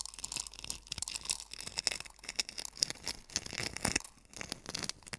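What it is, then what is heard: Coarse sea salt crunched in a wooden bowl. Fingers press, rub and scratch coarse sea salt crystals in a small hollow wooden bowl. The result is a dense run of quick, dry, bright crunches and gritty scrapes with almost no low end.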